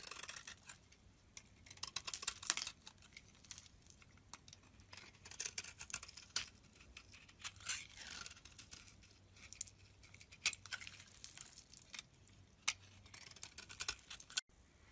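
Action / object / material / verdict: scrape / bar of soap shaved with a blade / soap / none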